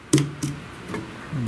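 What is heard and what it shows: Knocks on the wood of a repaired front entryway that has had no water intrusion. Three dull, low knocks ring briefly, and the wood sounds solid and still sound.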